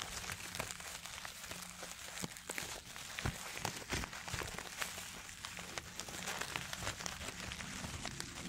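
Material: Paper.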